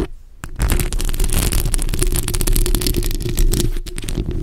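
The tips of long nails and fingertips scratch the hollow, bare metal mesh grille of a black microphone. After a brief quiet start, a dense, steady scratching sets in, heavy and rumbling in the low end, with rapid crackling grit and a faint sustained tone running underneath.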